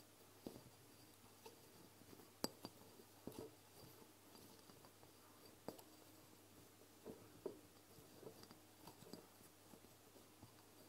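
Long fingernails on both hands tap and clink against a medium amber glass castor oil bottle with a black dropper cap, standing upright on a wooden table. About seven short, dry, bright clicks stand out over a quiet background of softer ticks and light scratching, each dying away almost instantly.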